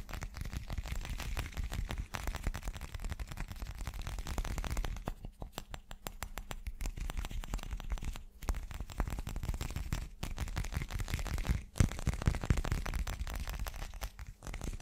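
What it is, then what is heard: Glass chunk. A solid chunk of teal glass, held in both hands close to the microphone, is tapped quickly all over with fingertips and nails. The result is a dense, rapid stream of short, dry clicks and knocks with very little ring, weighted toward a low thump with a faint bright edge, broken by a few brief pauses.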